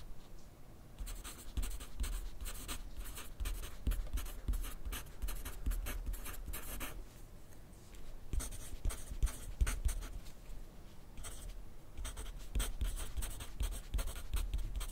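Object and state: Pencil writing on paper on a clipboard.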